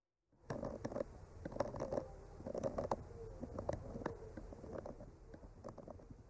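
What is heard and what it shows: A bamboo skewer with a clipped-on mic, held in the fingertips, gently scratches and traces over the painted blossoms on a flat, solid painted wooden art panel. Soft, dry scraping rustles along steadily with irregular small ticks and brief mid-pitched squeaky streaks. The sound stays quiet and close, with no ringing after each stroke.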